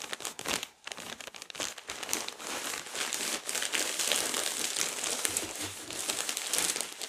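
A large pack of toilet paper rolls wrapped in thin plastic film is held up and squeezed and crinkled with fingers and palms. The result is a steady, dense, bright crinkling and crackling with little low end, pausing briefly near the start before continuing for about seven seconds.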